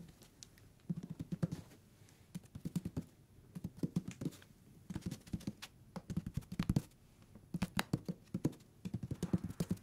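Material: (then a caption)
Paper. Fingertips tap and scratch the paper page edges of a thick hardcover book turned sideways. Quick clusters of soft, dull taps with a low body are mixed with brief, brighter scratchy clicks, separated by short quiet pauses. Each tap dies away almost instantly, giving a dry, close patter.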